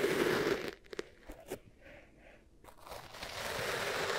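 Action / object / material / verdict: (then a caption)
scrape / kinetic sand in a bowl / sand / none. Long nails scratch lines through and press into beige kinetic sand in two small bowls, with microphones set in the middle. A dense, bright crunching opens the clip, then four sharp, separate crunches stand out before a quiet pause. Steady crunchy scraping then builds back up and continues to the end.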